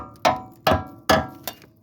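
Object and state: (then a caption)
Solid steel car frame. Four sharp metallic taps on the back side of a steel car frame section where welding is planned. Each tap rings briefly with a bright tone around 720 Hz. The frame sounds solid, not rotted through, and sound enough that it could also be plated.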